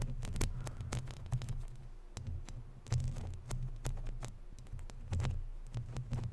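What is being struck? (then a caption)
Woven metal mesh microphone grille. Long natural nails scratch and rub a round, hollow woven metal mesh microphone grille. It gives a deep, throbbing low rumble around 90 Hz, broken by many sharp, bright ticks and scratches that swell and fade in uneven waves.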